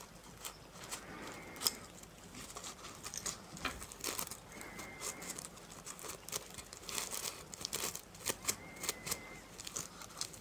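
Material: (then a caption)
Plastic sequins. Fingertips and nails brush and rub across a small round coin purse covered in reversible plastic sequins on fabric, held in the hands, flipping the sequins. The result is a quiet, continuous bright crinkling and scratching with rapid ticks and clicks, and a faint brief whine at about 2 kHz now and then.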